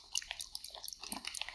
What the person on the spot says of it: I have to shake it well because it's very liquid, if you can hear that